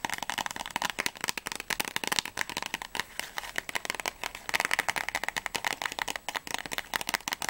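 A small, closed, printed cardboard box of Paracetamol tablets, likely holding blister packs, is held in both hands and tapped and scratched with long natural fingernails. Rapid, crisp clicks and dry scratches come in quick bursts, bright and papery with almost no low end and no ring after each tap.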